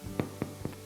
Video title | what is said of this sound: Most delicious tear and share garlic bread! | you can hear it's hollow